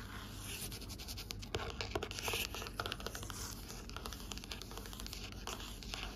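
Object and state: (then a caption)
Cloth-covered hardcover book, scratched. Long nails scratch lines into the fabric cover of a navy cloth-bound hardcover book lying flat, while a hand passes close by. Dense, dry scratching fills the clip, with brief bright strokes and a steady low rumble underneath.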